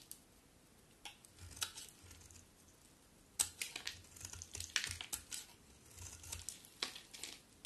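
A solid white bar of soap held in the hand is shaved with a metal utility knife blade. It gives quiet, dry, crumbly scraping and crackling strokes that come in irregular bursts, with a strong, bright, high hiss and little low end.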